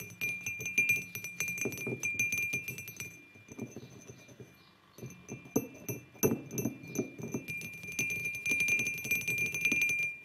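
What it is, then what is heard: Ceramic mug tapped. Fingertips and short nails tap the sides of a hollow, white glazed ceramic mug resting on a wooden table, producing a quick, irregular run of light clinking taps. Each tap carries a soft knock and a bright ceramic ring that fades quickly. The tapping briefly thins out to near-quiet midway before picking back up densely.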